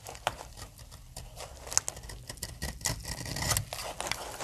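A solid pink dry soap bar is cut with a utility knife blade, and the blade and fingers crack off chunks and shavings. Short, dry, crisp cracks and scrapes with a bright, crumbly edge stand out over a faint low rumble, and they die away at once.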